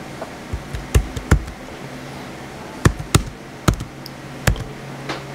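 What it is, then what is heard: Plastic laptop keyboard being typed on. Fingertips type on the white plastic keys of a small blue plastic HP laptop. They make a sparse, irregular series of short, dull, thuddy taps that die away almost at once, with a faint steady low hum underneath.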